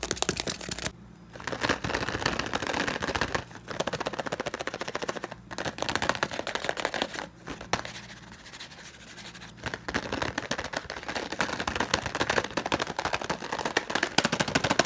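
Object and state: Cardboard bouillon cube box.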